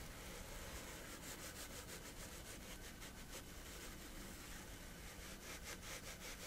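Fingertips and nails scratch and rub across a flat sheet of coarse-textured woven fabric lying on a surface. Quiet, rhythmic rasping strokes come through as bright, high scratchy bursts over a steady low rumble that runs through the whole clip.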